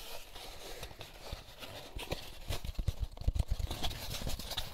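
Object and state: Empty paper pulp egg carton.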